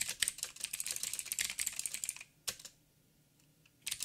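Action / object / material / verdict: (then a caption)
tap / mechanical keyboard with plastic keycaps / plastic / none. Fingertips type on a backlit mechanical keyboard with plastic keycaps and blue clicky switches. A rapid run of bright, sharp clicks fills the first two seconds, then a single burst of keystrokes follows a pause. A final quick flurry closes the clip.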